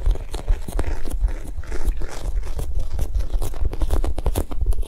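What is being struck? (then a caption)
Foam squishy toy. A Japanese cheesecake squishy, a soft foam toy, is tapped quickly and gently, not aggressively. The result is a steady stream of soft, dull, low thuds with a faint crinkly texture, each tap dying away instantly.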